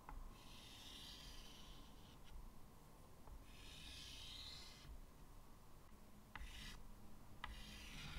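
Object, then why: Chalk on a wooden-framed chalkboard. White chalk draws lines across a medium, flat chalkboard in a wooden frame, making bright, scratchy rasping strokes in several bursts. Brief ticks sound as the chalk touches down, over a steady low rumble in the background.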